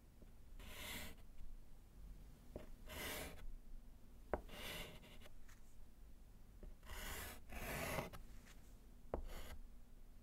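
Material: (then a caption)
Slate. A gloved hand writes with pink chalk on a small, flat, solid slate chalkboard set in a wooden frame. Bursts of bright, raspy scratching and rubbing alternate with short pauses, with a few sharp taps of the chalk against the board over a low background hum.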